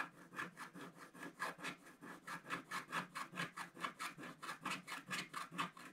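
A wooden stylus scratches around the pink flower area of a flat sheet of wax-coated scratch art paper in quick back-and-forth strokes. About 17 short, dry, rasping scrapes are heard at a steady pace of roughly two per second, each bright and papery with a brief hiss. The sound stays quiet and close throughout.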